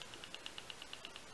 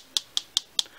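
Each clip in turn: First: slightly loose battery rattling in a penlight. Second: loose battery rattling in a penlight.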